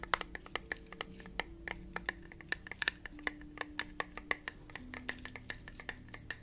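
Fingertips and nails tap rapidly on the lid and glass of a small, round, clear glass candle jar with a lid. The result is a quick run of short, dry clicks, like typing, each with a bright glassy tick and almost no ring, over a faint low hum.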